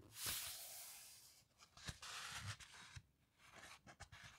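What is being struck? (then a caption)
Heavy glossy paper book pages. Fingertips and long nails rub and smooth across the heavyweight glossy paper pages of a large hardcover coffee table book lying open on a carpet, making bright, hissy swishes and crinkles. The pages are then turned and let drop, each landing with a soft, low thud between quieter scratchy rubs.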